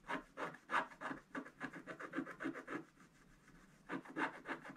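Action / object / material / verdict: scrape / wooden stick on scratch-art paper / coated paper / none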